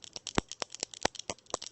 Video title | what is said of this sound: Nails Over Coffee July 11, 2016 | you can hear the ball shakin it's fairly thin